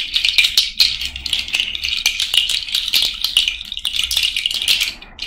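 A cowrie shell and bead bracelet is shaken and rubbed by hand close to the mic, giving a dense, continuous bright rattle of shells and beads clicking against each other. The sound sits almost entirely in the high range with sharp, short clicks and no low body.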